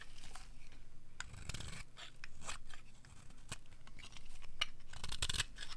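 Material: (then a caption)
Soap. A metal blade scrapes across the surface and edge of a solid, dry orange bar of soap, peeling off thin shavings. The result is a string of short, crisp scraping and crunching strokes with a bright edge over a low, steady background.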